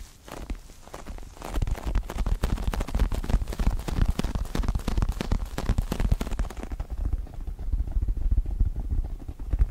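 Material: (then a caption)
Faux leather. Long acrylic nails scratch and tap rapidly across a small, soft, stuffed star-shaped pillow covered in white and pink pebbled faux leather. The result is a dense, irregular run of close, dull thumps and rustling scratches, heavy in the low end. It starts quietly, then grows busier, and turns duller with less bright texture toward the end.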